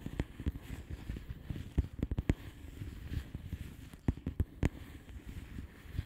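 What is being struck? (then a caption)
Plastic bubble wrap envelope. A flat blue plastic bubble wrap envelope is tapped with the long polished fingernails of both hands. Quick, dry clicks fall in an irregular rhythm over a soft, low, rustling bed. Several sharper taps stand out above the rest.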